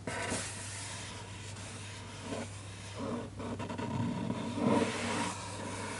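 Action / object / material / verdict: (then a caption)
scrape / paper page of a hardcover picture book / paper / none. Fingertips slowly trace and rub across the illustrated paper page of a large open hardcover children's picture book resting on a desk. Soft, dry rubbing and light scraping rise and fall in gentle swells over a steady low hum, with the strongest brushing near the end.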